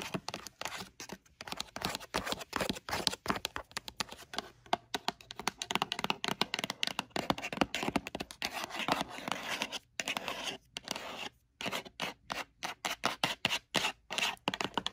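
A closed, hollow, dark navy rigid Ralph Lauren gift box of leatherette-covered cardboard with a textured faux-leather surface is tapped rapidly on the lid and side with long pointed red acrylic nails. Quick, dry clicks and scratchy taps come in dense bursts with brief pauses. The sound is bright with almost no low end or ring.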